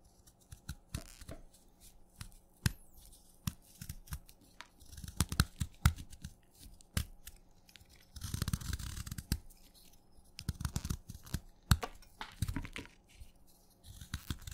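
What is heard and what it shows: A small steel knife shaves thin, crumbly curls off a solid white speckled wet chalk stick held in the fingers. Many quick, sharp scraping clicks and soft, low, dull crunches come in irregular bursts, with a longer, denser stretch of gritty scraping around the middle. A faint, steady low hum sits underneath throughout.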